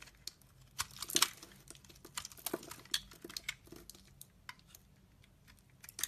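A solid, translucent orange ridged soap bar held in the hand is scraped and carved with a utility-knife blade, with shavings falling away. The result is a quiet series of short, crisp, bright scraping and crackling clicks with almost no low end, and a few louder cuts stand out among softer rasps.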